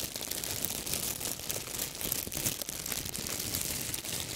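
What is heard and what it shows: A large, thin, clear plastic bag, empty and crumpled, is gripped in both hands and crinkled and crushed close to the microphones. The result is a steady, dense stream of bright, crackling crinkles, concentrated in the high range with little low end.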